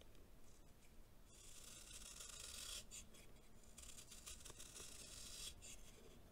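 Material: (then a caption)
Baking soda. A solid, compacted block of packed baking soda, held in one hand, is shaved with a green knife blade, and powder scrapes off. The rasping scratch is steady and bright, rising after the first second and continuing in overlapping strokes over a low background rumble.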